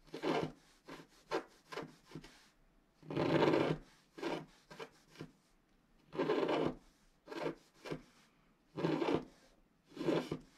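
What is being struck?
Black-coated paper scratch art card scratched with a wooden stylus.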